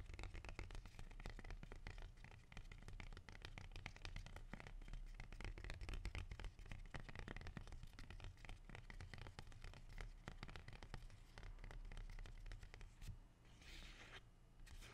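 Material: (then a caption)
Leaf. A single large, dark green, glossy, leathery rubber plant (ficus) leaf, thin and solid, is held in one hand and scratched and rubbed with fingertips and dark-painted nails. Dense, irregular dry scratches and soft crackles run throughout over a low, heavy rumble. A brief, brighter, hissy rub rises near the end.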